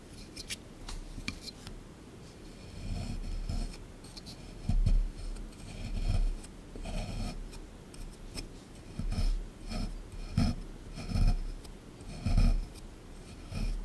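A small chisel tool scrapes at a solid plaster block from a dinosaur excavation kit sitting in a tray. Quiet, irregular gritty scraping strokes come in short bursts, each rising and fading, with a dull, low-heavy body.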